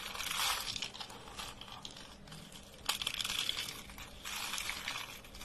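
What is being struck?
Soap shavings and curls.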